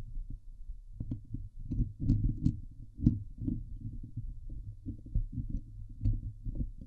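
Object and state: Metal mesh microphone grille being scratched.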